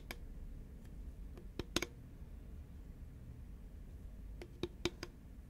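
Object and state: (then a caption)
Cardboard tube tapped with nails. Long nails of both hands tap a green Pringles can, a hollow composite cardboard tube, as it is tilted and then held upright. Short, dry clicks with a faint hollow tone near 330 Hz come in two loose clusters, and each dies away almost instantly over a low, steady background rumble.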